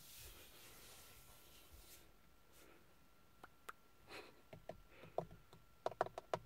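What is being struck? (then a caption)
Plastic steering wheel airbag cover. Long nails tap and scratch in quick, typing-like patterns on the large, hollow-backed, hard textured plastic airbag cover in the centre of a Ford steering wheel. A soft scratching hiss fills the first two seconds, then scattered dry, clicky taps follow and build into a faster cluster near the end, about 11 sharp hits in all. The taps have a short, hollow mid-pitched knock with almost no ring over a quiet background.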